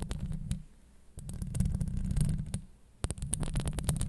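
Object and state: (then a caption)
Metal mesh microphone grille being scratched. Long acrylic nails scratch across the hollow steel mesh grille of a Blue Yeti microphone, producing a dense, low rumbling scrape dotted with sharp, bright clicks. The scratching comes in bursts, fading quiet around the one-second mark and again just before three seconds, then starting up sharply again.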